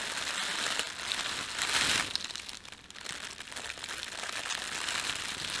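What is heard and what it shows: A thin, empty red printed plastic bread bag is rubbed and crinkled with flat hands and fingertips. The result is a dense, continuous bright crackling rustle of plastic film with almost no low end. It swells to its loudest just before the two-second mark, dips briefly, then keeps a steady crinkle to the end.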